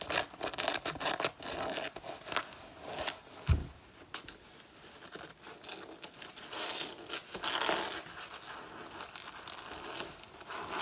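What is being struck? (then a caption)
Faux leather jacket. Both hands with long natural nails claw and scratch the front of a black faux leather jacket made of soft synthetic leather, worn on the body. Dense, rapid bursts of bright scraping and crinkling flutter through the clip, with a few sharper, louder swipes standing out.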